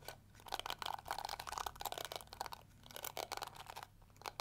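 Long nails scratch and strum the flexible plastic bristles of a small round pink-and-yellow plastic detangling hair brush. The result is a rapid, uneven run of dry, crackly clicks and scrapes with a bright, crunchy texture that stops almost instantly after each stroke.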